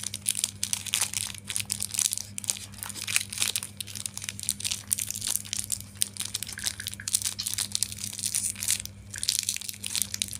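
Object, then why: Plastic film wrapper around a chocolate wafer bar. Fingers with painted nails squeeze, rub and crinkle the red plastic film wrapper along a single long, thin Klick chocolate-coated wafer bar with the solid wafer inside, while other candy sits nearby untouched. The result is a dense, continuous run of bright, crisp crackling and crinkling with quick sharp snaps and almost no low end. A faint steady low hum sits underneath throughout.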